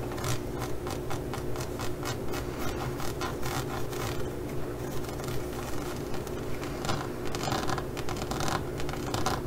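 Long glitter-polished nails scratch across the glossy molded pyramid studs of a flat green zippered faux leather pouch. The result is a steady run of quick, crackly scratching strokes, about one to two per second, over a constant low hum.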